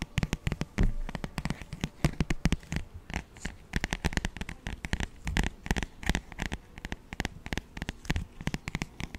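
Fingertips and nails tap and scratch the cover of a thin, glossy paperback children's songbook held in one hand. Dozens of quick, dry taps land in an uneven rhythm, each with a soft low thump and a brief papery click that dies almost instantly. Faint scratchy rustles fill the gaps between them.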